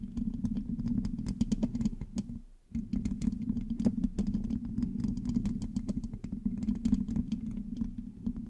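Long manicured nails on both hands scratch and tap the rounded metal mesh grille of a black USB condenser microphone with a hollow head. A dense stream of quick, bright clicks and scratchy rasps rides over a steady, boomy low drone around 240 Hz. The sound briefly drops out near the middle before resuming.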